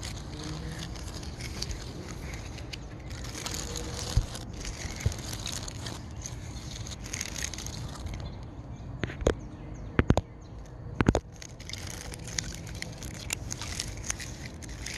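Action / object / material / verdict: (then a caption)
scrape / tree trunk bark / bark / none. Fingertips scratch along the ridges of a large, solid tree trunk with rough, furrowed bark, making a steady, dry scratching and rustling texture with a low rumble underneath. Sharp, brief clicks and snaps punctuate the scratching, clustering between about 9 and 11 seconds before the steady scraping resumes.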